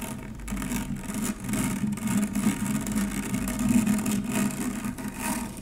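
A stainless steel wire-mesh strainer, turned upside down, has its mesh dome scratched with the long nails of both hands. The result is a continuous, dense rasping scratch with a low whirring hum centered around 215 Hz. Faint bright hiss sits above it, and the loudness swells and dips without clear separate hits.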